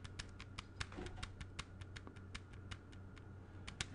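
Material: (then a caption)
Plastic. A closed plastic CD jewel case, held upright in one hand, is tapped with the fingertips in a steady run of light, dry clicks. Each tap is brief and bright, over a faint low hum.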